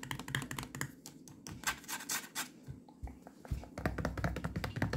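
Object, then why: Plastic milk bottle. Long nails scratch and tap the sides and green cap of a full 1-litre white plastic milk bottle. Rapid, crisp clicks and scratchy strokes come in dense bursts over a low, dull body, each tap dying away almost at once.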